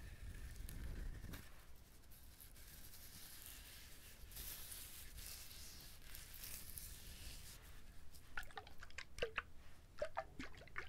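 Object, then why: Whole coconut with fibrous husk. Fingertips scratch and rub the fibrous husk of a whole trimmed coconut held up close to the mic. A soft, low rumbling rub gives way to a steady, airy brushing. It ends in a run of crisp, dry scratches and clicks.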